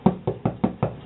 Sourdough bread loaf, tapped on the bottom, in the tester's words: tap it and it should sound hollow